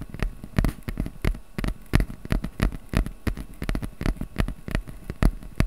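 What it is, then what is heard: Corrugated cardboard being tapped and scratched. Fingertips tap and scratch the surface of a small, flat piece of brown corrugated cardboard held in both hands above a microphone. Quick, irregular dull taps and soft scratches follow one another closely, each dying away almost at once, with a low, thuddy weight and little brightness.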